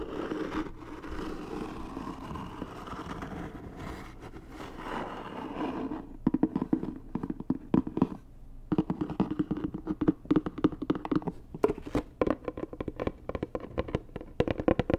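Long nails scratch across the lid of a hollow, white rigid cardboard Dior gift box for about six seconds, giving a steady dry scraping. Then they switch to quick, uneven tapping on the lid: sharp, short clicks with a hollow mid-low body that fade almost at once.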